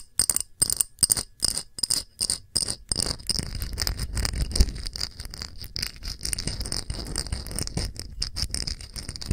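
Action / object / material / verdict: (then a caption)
tap / small glass dish / glass / none. Long nails tap quickly on a small, round, clear glass dish with bead feet, empty and held in both hands. Short bursts of bright, clicky taps with a high glassy ring come first, then merge after about three seconds into a steady, dense run of tapping over a low rumble.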